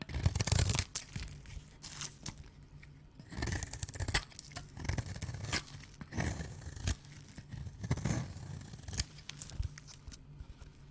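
A small, solid oval bar of dry soap, glowing neon under UV light, is held in gloved hands and scraped and cut with a small blade, with loose shavings nearby. Dry, rasping blade-on-soap scratches and cutting strokes come in uneven bursts. A low hum sits under them.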